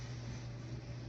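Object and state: Nothing is struck.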